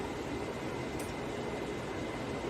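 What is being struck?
Nothing is struck.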